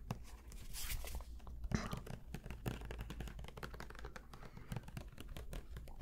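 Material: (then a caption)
Plastic. Fingertips tap and scratch a medium white Elmer's plastic glue bottle with an orange cap and its label, close to the microphones. The result is a steady stream of soft, crinkly scratching and quick dry taps over a low, constant rumble, with a few brighter swells of scraping.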